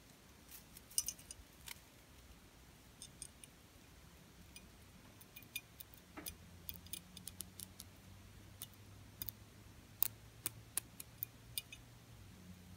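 Long purple fingernails tap and click on the solid thin frame of an open heart-shaped rose gold metal ornament with small embellishments, held in the fingers while it hangs on a ribbon on a Christmas tree. Quiet, sharp, bright clicks come at irregular intervals and die away instantly over a faint low hum.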